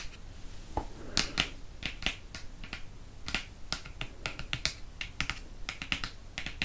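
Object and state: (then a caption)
Hardcover book cover. Fingernails tap the glossy board cover of a Prisoner of Azkaban hardcover book held up close, making quick, sharp, bright clicks. The taps come in an irregular rhythm over a low background hiss, each dying away almost instantly.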